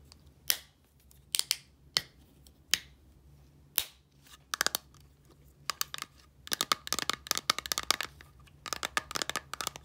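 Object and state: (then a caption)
Plastic bottle of liquid tapped with nails. Long nails tap the turquoise cap and body of a small clear plastic micellar water bottle with liquid inside. A few spaced, sharp clicks give way to quicker, denser tapping. Each tap is a bright, dry plastic tick that stops almost instantly.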